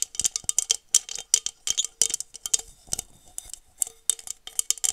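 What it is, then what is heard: Glass tumbler tapped with nails. Long nails tap and scratch the sides of a small, hollow, empty blue glass tumbler held close to the mic. The result is a rapid, uneven series of bright, high clicks and scrapes that stop almost instantly, with almost no low end.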